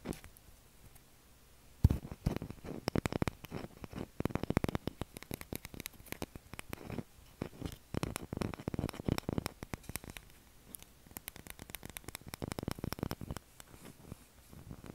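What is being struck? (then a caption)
Soap bar. A pale blue solid bar of soap resting on a table is tapped and scratched along its edge with fingernails. After a quiet opening of almost two seconds, dense bursts of short, dry clicking taps and scratchy rustling follow, with brief lulls between the busier stretches. The sound stays soft and close, weighted toward a dull low thud beneath the crisp scratching.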